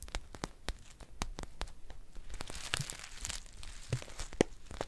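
A green foil tea pouch held in the hands is crinkled and scratched with long painted nails. It gives a quick run of dry, sharp crackles and crinkly tearing rustles with bright edges. Each snap dies away almost instantly over a soft, steady background.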